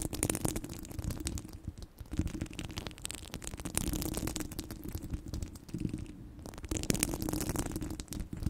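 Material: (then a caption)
Steel mesh. Long blue nails scratch across the top of a domed steel mesh microphone grille. A dense, continuous run of scratchy crackles and rasping strokes comes through with a heavy low rumble underneath, and bright hissy bursts rise and fall as the nails sweep back and forth.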